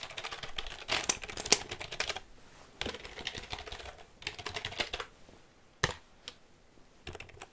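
Close up near the mic, fingers tap the keys of a black plastic computer keyboard with a hollow casing, then tap its plastic underside. Bursts of quick, bright, dry clicks come in clusters separated by short quiet gaps, with a few sharper isolated taps toward the end.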